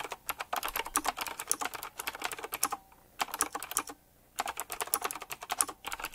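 Fingertips type quickly on a full-size typewriter-style mechanical keyboard with round black plastic keycaps, chrome-look rims and a metallic frame. Dense bursts of sharp, bright clicks and clacks come in rapid runs, broken by two short pauses near the middle.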